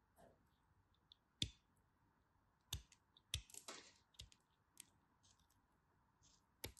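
A tiny remaining piece of pink striped bar soap, held between long white nails, is carved and cut with the tip of a knife. About nine quiet, sharp, bright clicks and crisp scraping cuts come at irregular intervals, each dying away almost instantly over a low background hiss.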